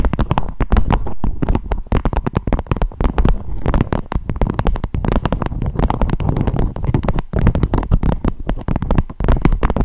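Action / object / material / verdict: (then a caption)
tap / beeswax-coated fabric wrap / waxed fabric / none. A beeswax-coated fabric food wrap with a strawberry print, shaped into a dome, is tapped and crinkled with long acrylic nails. It makes a dense, continuous run of quick, dull taps and papery crackles. The sound is mostly low and muffled, with each tap dying away almost at once.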